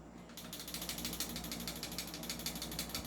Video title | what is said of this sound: Kwentuhan Session Tanungan Portion Ep.139 | yung barrel na to, dahil hindi siya upgraded, kumakalog